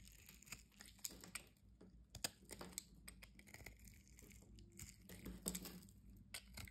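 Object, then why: Bar of soap scraped and cut with a utility knife. A thin remaining slab of solid orange soap is cut and scraped with a utility-knife blade held by its red handle. Soft crisp scraping and crunching fill the clip, broken by sharp bright clicks and snaps over a low muffled rumble. It is quiet throughout, with short dry ticks that stop instantly.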